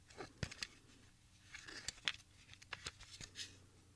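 A Sony HF 60 plastic audio cassette, a small hollow cassette with a smoky translucent plastic shell and tape reels inside, is handled and turned with the fingertips of both hands. This gives irregular, sharp, bright clicks and light rattling with no ring, set against a quiet background.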